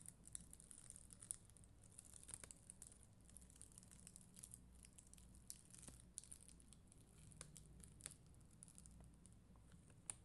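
Long green nails brush and scratch a black mascara spoolie across a flat sheet of red and clear faceted acrylic rhinestone stickers on white backing. The result is a quiet, continuous crackly rustle with bright, sharp ticks scattered throughout, over a steady low hum.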